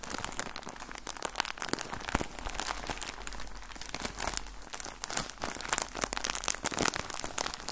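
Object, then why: Soft plastic bag of cotton balls. A full, soft plastic bag of cotton balls is crumpled and squeezed with both hands. The result is a dense run of bright, crackling crinkles that comes in bursts with almost no ring. A faint low hum runs underneath.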